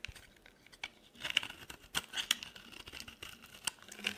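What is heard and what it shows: A utility knife blade cuts thin strips from a solid, dry yellow oval soap bar, scraping and slicing through it. Bright, crisp scraping and crinkling sounds come in quick, uneven bursts with sharp clicks that stop instantly, centred around 2.9 kHz with almost no low end.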